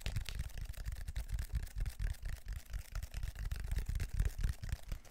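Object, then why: Ridged plastic foam roller. Fingertips and nails scratch and tap the ridged grid texture of a large black plastic textured foam roller, held horizontally in both hands in front of the mic. The sound is a fast, irregular run of soft, deep thumps with very short decay, overlaid with faint, bright scratching.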